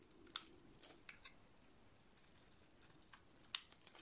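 A dry, oval, solid blue soap bar with a painted black and yellow coating is shaved with a metal blade. Quiet, bright, crisp scraping and crackling ticks are heard, with a couple of sharper clicks standing out near the start and the end.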